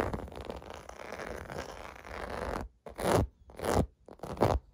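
Fingers scratch across the surface of a clear blue plastic bubble bath mat with raised domes, resting on carpet. A steady, dense scratching rasp runs for about two and a half seconds, then breaks into three separate louder strokes with brief silences between them.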